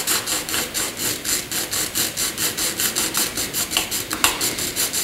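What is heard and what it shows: A graphite pencil is rubbed across a flat sheet of white drawing paper in fast horizontal back-and-forth shading strokes. About 18 steady, rhythmic strokes make a bright, airy scratching hiss with almost no low end. A few strokes near the end come out slightly sharper and louder.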